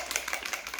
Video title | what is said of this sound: First Impressions #1 - "It's Freakin' Bats" Eyeshadow Palette, Milani, Kosas, Rare Beauty, ELF | you hear that ball rattling